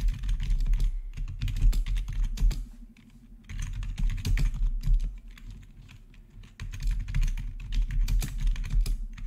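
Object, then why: Plastic keyboard. Fingertips rapidly type on the keys of a black plastic RGB backlit gaming keyboard with a hollow housing. The result is a steady stream of quick, uneven clacks, each with a low, hollow thock and a bright click on top. Typing softens briefly around the third second and again in the sixth to seventh second before picking back up.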